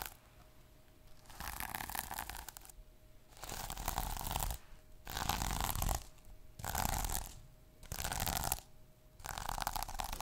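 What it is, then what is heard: Plastic sequin notebook cover. Fingertips and short nails rub and scratch the plastic sequins on the cover of a small sequin notebook. The sound comes in repeated bursts of dense, crackling scratching with a low rumble and bright rustle, separated by short quiet pauses where a faint steady tone remains.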